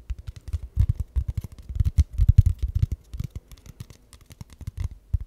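A flat, thin brown kraft cardboard sheet or envelope, about hand-width, is held up in both hands close to the microphone while fingertips and ringed nails scratch and tap its surface. The result is a rapid, uneven run of dull, low thumps and papery scratches that stop dead with no ring, with faint bright crackle above.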